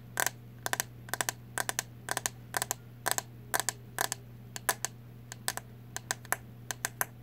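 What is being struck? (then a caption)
Plastic hairbrush. Long nails tap and scratch the back and bristle side of a green plastic hairbrush, producing quick bursts of sharp, bright clicks in pairs and small clusters. A steady low hum runs underneath throughout.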